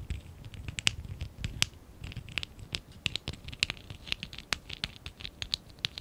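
A small stack of hollow lilac and dark blue ABS plastic Lego bricks from the Lego Classic 11017 set is held in both hands while fingertips and short nails scratch and rub it. The result is an uneven run of sharp, dry, bright clicks and scratchy ticks that stop instantly, over a faint low rumble of handling.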